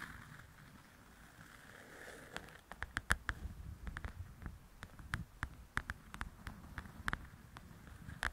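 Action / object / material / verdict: tap / paperback paper coloring book with glossy cover / paper / none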